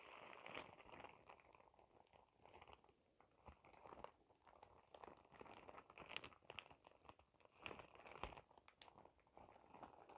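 A clear plastic shower cap with a cartoon print and an elastic edge is squeezed and crinkled in the hands. It makes a steady stream of soft, bright crackles and rustles, with a few louder crinkly bursts along the way. The overall level stays quiet and close.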